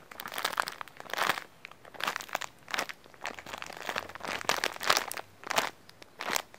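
An orange printed plastic cookie package is held in both hands while the fingers squeeze and crinkle the wrapper. Repeated bursts of bright, crackly crinkling come with short quiet gaps between them, with almost no low end and no lingering ring.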